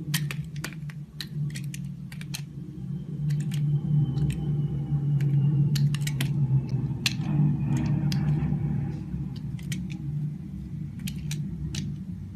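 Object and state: Glycerin bar soap being shaved.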